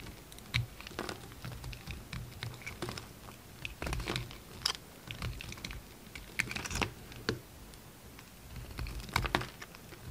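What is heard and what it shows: A utility knife held in the fingers shaves thin pieces off a solid pink bar of soap that has already been narrowed by carving. Irregular bursts of crisp, bright scraping and crackling ticks come as each sliver is cut away. Quiet pauses fall between the bursts, with a low, soft rumble underneath.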